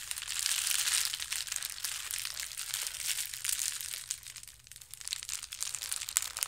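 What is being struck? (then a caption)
Soft plastic shipping mailer bag. A soft, roughly hand-sized blue and white plastic shipping mailer bag is crumpled and crinkled in both hands. Dense, bright crackling rustles continue throughout without pause, louder in the first second and again near the end, with almost no low end.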